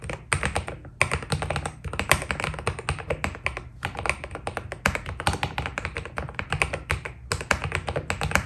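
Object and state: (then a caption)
Mechanical keyboard with PBT keycaps. Fingertips type steadily on a white Keydous NJ80 mechanical keyboard with PBT plastic keycaps, producing a dense stream of short, crisp key taps with a bright clicky edge over a low thock. The rhythm pauses briefly a few times before resuming.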